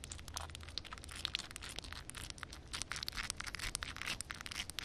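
Long red nails rapidly tap and scratch a solid concrete slab covered in a film of water. Quick, dense, crisp clicks and bright scraping run continuously with no ring, over a faint low rumble.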